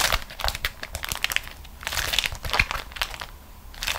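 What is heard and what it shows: A thin beeswax-coated cotton food wrap is gathered up and crumpled into a ball by both hands with long nails. The sound is dense, bright crinkling and crackling in quick, uneven bursts, with short sharp crackles that die away almost at once.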